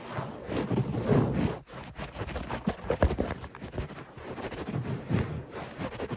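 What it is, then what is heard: Synthetic fiber carpet being scratched. Short fingernails and fingertips of both hands scratch fast and aggressively at a beige-grey textured synthetic fiber carpet lying on a solid, flat floor. The sound is a dense, low, rough rustling in surging bursts, with a brief dip partway through before the scratching picks back up.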